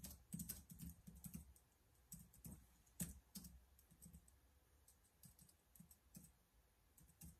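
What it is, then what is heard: Plastic laptop keyboard being typed on. Fingertips type on the keys of a black plastic laptop keyboard in quick, uneven bursts of soft clicks. Each keystroke gives a dull, low thump with a short bright tick that dies away almost at once, and the typing stays quiet throughout.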